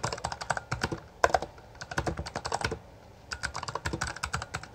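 Two hands type continuously with fingertips on a Bloody B820R full-size black plastic mechanical gaming keyboard with backlit keycaps and a hollow housing, pressing and striking the keys. Rapid, sharp, hollow plastic clacks come in quick bursts with brief pauses near 1.1 and 3 seconds. Each keystroke is dry and short, with little ring and a midrange tone.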